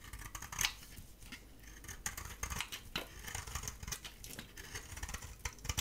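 A dry bar of soap, painted gold with a cream core, is held in the hand and shaved with a metal utility blade, the flakes piling up. Quiet, dry scraping and crisp bright scratches repeat in quick strokes, with a few louder snaps.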